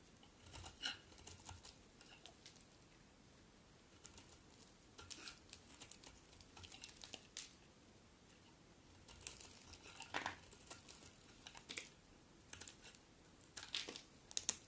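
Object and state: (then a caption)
Bar soap being shaved. A box cutter blade shaves a solid white bar of soap, held with long nails, as flakes pile up. Quiet, bright, crisp scraping and crackling bursts come in irregular clusters with brief pauses between strokes.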